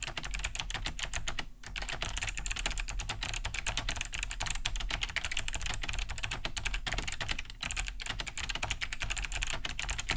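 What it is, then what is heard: Plastic mechanical keyboard being typed on. A large beige Cherry G80-3000 mechanical keyboard with a hollow plastic case and thick plastic keycaps, resting on a wooden desk, is typed on fast with both hands' fingertips. It gives a dense, steady stream of bright, clicky key-switch taps over a low hollow thump from the casing, with two brief pauses near 1.6 and 7.5 seconds.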